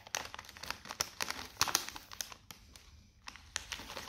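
Fingertips press and rub a small, sealed, metallised plastic Seabrook beef-flavour crisp bag, full of crisps and lying flat on a white table. The result is a quick run of bright, dry crinkles and sharp crackles with almost no low end. Each one cuts off almost instantly, with a brief quieter lull partway through.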